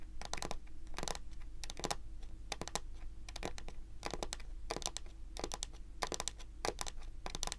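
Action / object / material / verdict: tap / wooden table top / wood / none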